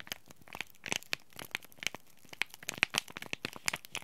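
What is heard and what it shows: A small, flat, bright green laminated plastic-foil Oi Ocha green tea bag packet, sealed with a tea bag inside, is crinkled, bent and scratched by fingertips and short nails. The result is a steady stream of bright, dry crinkles and sharp crackling snaps with almost no low end. Each snap dies away instantly.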